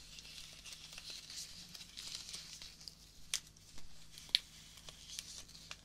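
Fingertips with short painted nails crumple, rub and tear a small cluster of soft, thin, pink-red fresh rose petals held close in both hands. It makes a quiet, bright, high crinkling rustle with soft tearing. Two sharper crackles stand out near the end over a faint steady low hum.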